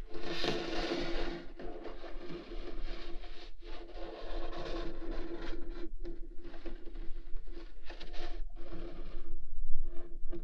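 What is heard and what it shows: Fingernails slowly scratch the lid of a large printed cardboard microphone kit box lying flat, making a continuous dry, raspy scraping with a few brief pauses. A steady low hum sits beneath the scratching throughout.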